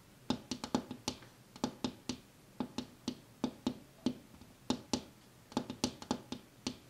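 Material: Glass.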